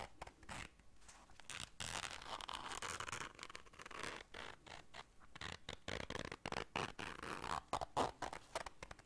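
Long dark nails scrape across and zip a small round black fabric zipper case held in the hands. Rapid, dry scratching and zipper rasps with bright edges come in quick bursts of many short strokes, some louder near the end.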